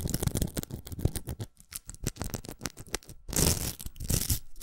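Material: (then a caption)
Plastic. Long nails scratch a large, hollow pink plastic velcro hair roller and tap its rim. The result is a rapid run of short, dry, crackly taps and bristly scratches with no ring, ending in a louder, denser stretch of bright, rough scraping.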